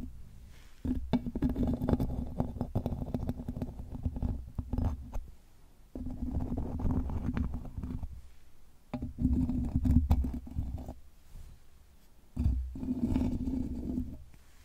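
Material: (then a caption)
Metal mesh. A small plastic eyebrow brush and comb, held in a hand with long nails, scratch and brush across the bare woven metal mesh grille of a large round microphone. Four bursts of dense, low, rumbling scratching, each carrying a steady buzzing tone, are separated by short quieter pauses.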